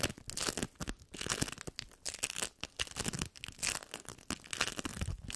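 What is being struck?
Sticky bead foam lump.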